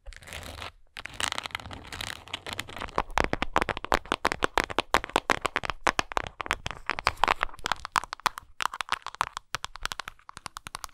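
Long nails tap and scratch the front and sides of a textured plastic Tums tablet bottle with a paper label and a blue lid, hollow with tablets inside. The result is a rapid stream of sharp, dry clicks and crinkly scratches, bright and short with almost no ring, pausing briefly between bursts.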